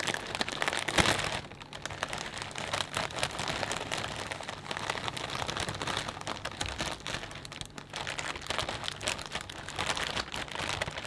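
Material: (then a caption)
Plastic. Both hands press and crinkle a clear plastic bag full of potato chips, making a steady, dense crackling and rustling with bright, high crinkle textures throughout. A louder burst of crinkling stands out near the start before the crackle settles into a continuous, uneven rustle.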